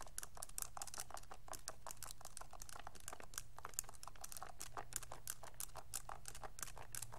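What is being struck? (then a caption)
Plastic graphing calculator keys. A pink plastic graphing calculator is held in both hands while fingertips press its keys in quick succession. Crisp, bright plastic clicks overlap in a rapid patter, each dying away almost instantly, over a steady low hum.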